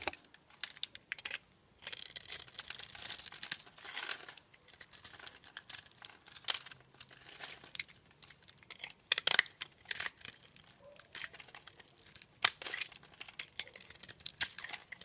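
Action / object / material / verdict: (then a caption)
scrape / bar of glycerin soap cut with a blade / glycerin soap / none. A utility knife blade cuts into the scored surface of a solid, hand-sized, teardrop-shaped translucent blue glycerin soap held in a palm by a hand with long nails, chipping off small cubes. The blade makes dense bursts of crisp, bright crackling and scraping with almost no low end, each cut ending abruptly between short pauses.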